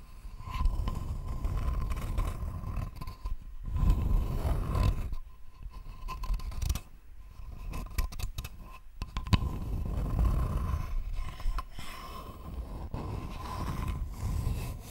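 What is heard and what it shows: A thin, flat, rectangular wooden board held in both hands is scratched with long nails. The result is a dense, low, rumbling scraping texture that swells and fades in waves, with a faint steady tone near 1 kHz running underneath.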